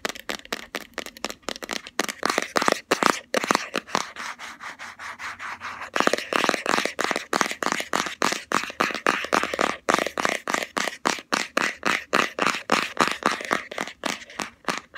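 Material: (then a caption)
Plastic. Long fingernails rapidly tap and scratch a round plastic Body Shop Hemp jar with a green label lid, held close. Fast, sharp, clicky taps come at an uneven pace, with a softer stretch of continuous scratching in the middle before the quick tapping resumes.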